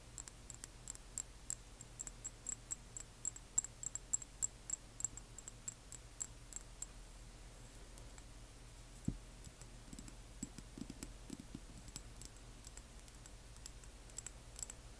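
Long nails tap and click on a small frosted amber glass dropper bottle holding liquid, resting in the hands. The sound is a rapid, irregular stream of soft, sharp clicks with a bright glassy tick, set against a quiet low hum.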